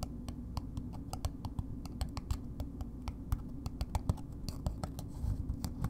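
A red paper-wrapped solid bar soap, held in the hand, is tapped and scratched on its wide face with long nails. Quick, dry clicks and papery scratches fall in an uneven, steady run over a low, soft background hum.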